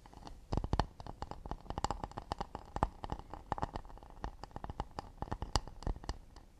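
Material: Acacia wood.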